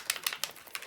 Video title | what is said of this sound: Two Minute Tip - NO MORE CLOGS! Storage & Organization - How To Store Spray Inks & Mica Mist | If I shake this one, you can hear it has a silver ball in it.